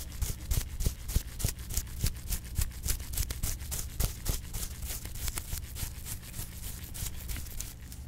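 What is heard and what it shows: A flat paintbrush is brushed rapidly across a soft, hollow, dark blue perforated leather glove held in a gloved hand. The strokes come at roughly three per second, each a bright, bristly swish over a steady low hum, and they fade slightly toward the end.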